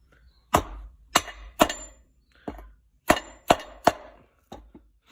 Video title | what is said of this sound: T56 input shaft seal | tap it in until you hear it fully seated